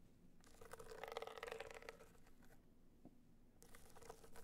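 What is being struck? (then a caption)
Small rigid box clutch with a metallic, dotted surface. A small, rigid, hollow gold hard-shell box clutch, covered in gold metallic material with raised dots and held upright, is tapped and scratched with long nails. Dense, crunchy scraping bursts carry a hollow resonance around 465 Hz. They fade to a brief lull before the bright scratching starts again near the end.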